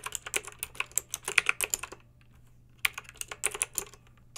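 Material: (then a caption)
Plastic. Long pink acrylic nails type on a plastic mechanical keyboard with backlit round plastic keycaps. Short, bright, clicky keystrokes come in a rapid run, pause for under a second, then resume. The clicks are crisp with almost no ring and little low end.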